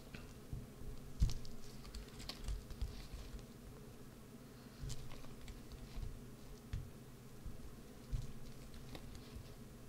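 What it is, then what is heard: Bar of soap being carved. A small wood-handled gouge carves and scratches the face of a solid green bar of soap. Soft, crumbly scraping runs throughout, with a muffled low rumble and occasional sharper, brighter scrapes as chips are cut away.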